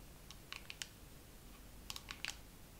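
A dermaroller case is tapped slowly with long nails, giving quiet, bright, clicky taps in two loose clusters. Each tap dies away almost instantly over a faint low background hum.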